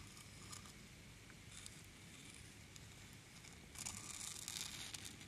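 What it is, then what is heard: Wooden slices stirred in a wooden bowl. A wooden ladle, held in a hand with long dark nails, stirs and scoops through a large wooden bowl full of small solid round wood slices. The slices clack against each other and the bowl with soft, bright rattling and crackling over a low rumble. The clatter grows louder and denser near the end as the ladle scoops.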